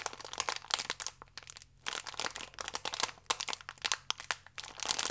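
A full, small plastic-film biscuit pack is twisted and crinkled in both hands with fingertips and nails. Dense, bright crinkling and crackling come in bursts with a short quiet gap in the middle, and each crackle is dry and quick, with almost no low end.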